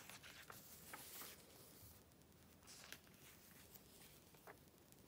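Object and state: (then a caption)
Glossy paper magazine. A hand flips the pages of an open glossy paper Vogue magazine, the July 2013 issue, and rubs its palm and fingertips across the paper. Quiet, bright papery rustles and swishes run throughout, broken by short crisp crackles as the pages turn.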